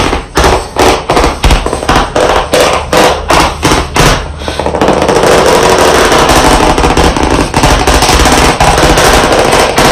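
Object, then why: Chalkboard panel in a wooden frame, tapped with chalk sticks. White chalk sticks held in both hands tap on a solid, medium, flat black chalkboard panel in a wooden frame. Sharp, clicky taps are heard, spaced apart at first. After about five seconds, they speed up into a dense, rapid flurry that runs steadily to the end.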